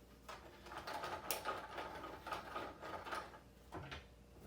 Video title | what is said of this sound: Next Level Challenger Cockpit Shake Test | the noise comes from the steering wheel contacting with the platform itself